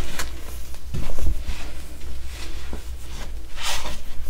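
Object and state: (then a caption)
Pressed baking soda chunk crumbled by hand. A solid purple pressed baking soda chunk, held over a heap of purple baking soda powder, is broken and crumbled by the fingers of both hands, which then squeeze the powder. Soft, dry crunches and crackles come with brief bright bursts near the start and toward the end. A steady low rumble runs underneath throughout.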